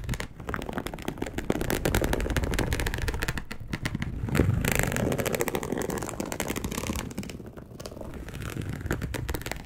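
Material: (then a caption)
Polyester. Long acrylic nails scratch and tap across a dark polyester mesh bed sheet lying loosely in soft folds. The result is a dense, rapid, uneven patter of dry scratches and taps, heavy in low rumble with little brightness. It stays steady throughout, with brief quieter dips near the middle and toward the end.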